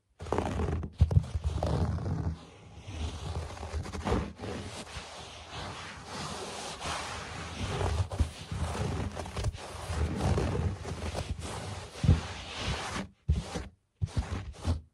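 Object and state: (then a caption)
Low-pile carpet being scratched. Fingertips and short nails scratch and scurry across a low-pile speckled carpet toward the camera, giving a continuous rough, muffled scraping. The sound is mostly low with dense rustling texture, short louder bursts, and brief silent gaps near the end.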